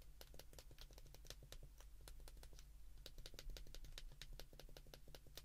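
Thumbs repeatedly press the number keys on a handheld white plastic flip phone, producing quick, short, bright clicks in an uneven rhythm. A steady low hum runs beneath the clicking.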